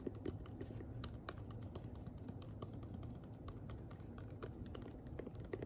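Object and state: Plastic hairbrush tapped with fingernails.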